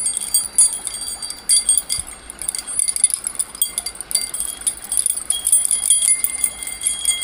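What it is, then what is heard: Metal key ring bundle. A bunch of long, solid metal pieces on a split ring is dangled and swung by the fingertips, so the pieces knock together. The result is a steady run of bright, high, chime-like clinks with short rings, with almost no low end.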